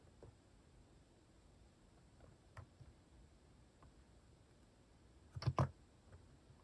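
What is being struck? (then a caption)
Plastic mechanical keyboard keys. A plastic mechanical keyboard with cat keycaps is tapped with sparse fingertip key presses. Soft, low clicks sound over quiet background hiss, with faint taps early on, a clear click near 2.6 seconds, and a louder cluster of presses near 5.5 seconds. Each click dies away almost instantly.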